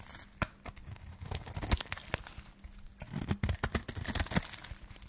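A solid yellow bar of dry soap, held in the hand, is scraped and cut with a flat metal blade, and the shavings fall onto a pile. Dry, crisp scraping and tearing crackles come in quick bursts, with sharp, bright snaps over a faint steady low hum.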